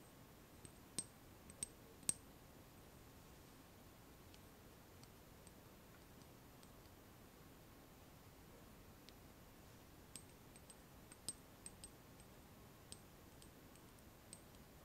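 Fingernails tap a small amber glass dropper bottle with a black cap, filled with liquid and held upright in one hand. About seventeen short, bright clicks come in irregular clusters, with quiet pauses between them. Each click has a high, glassy ping that dies almost at once over a faint background hiss.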